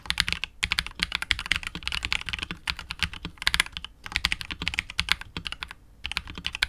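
Fingertips of both hands type continuously on a KBD67 Lite R2 65% mechanical keyboard with KTT Wine Red switches, PBT keycaps and a hollow, clear translucent polycarbonate case. The result is a rapid stream of short, bright clacks with a light low thock beneath, each keystroke dying away almost instantly, broken by a few brief pauses.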